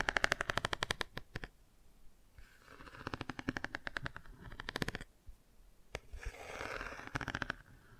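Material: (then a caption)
Cardboard. Long nails rapidly tap and scratch the car page of a cardboard board book held open at an angle on its bicycle and car pages. Quick runs of sharp, dry clicks come in bursts, broken by softer, brighter scratching with almost no ring.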